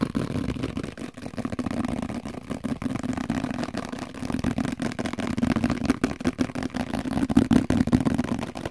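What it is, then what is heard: Plastic microwave cover. A translucent, hollow, plate-sized plastic microwave cover is tapped on its top and sides with fingertips and nails. The result is a fast, irregular stream of short, dry, hollow taps with a resonant tone around 230 Hz.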